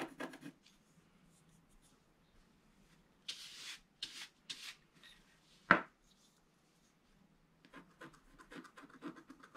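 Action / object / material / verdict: scrape / black-coated scratch-art paper board scratched with a wooden stylus / coated paper / none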